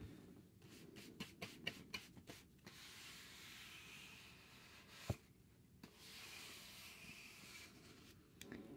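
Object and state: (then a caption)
Cardboard sheet brushed. A thin, solid, rectangular grey cardboard sheet is held in the hand and brushed with a wide bristle paintbrush. Soft, airy scraping strokes sweep across the surface, broken by nine short, sharp taps and clicks, the loudest about halfway through.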